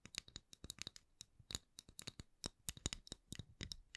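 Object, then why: Round thin wooden lid. A round candle lid of solid, thin wood is tapped and scratched with long nails. About 22 quick, quiet, crisp clicks and scratches are heard, bright and dry, each dying away almost at once.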